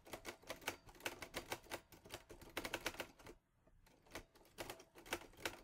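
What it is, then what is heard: Metal portable typewriter being typed. Fingertips type fast on the keys of a teal metal Olivetti Lettera 22 portable typewriter, producing rapid, bright, sharp clacks with very short decay. The strikes come in quick bursts, broken by a brief quiet pause a little past the middle before the typing resumes.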